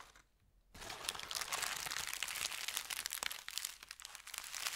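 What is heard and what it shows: A folded thin white paper sheet resting on a felt mat is scratched and rubbed with fingertips and nails. After a brief near-silent moment, dense, bright crinkling and scratching starts and continues steadily with many small crackles and quick peaks.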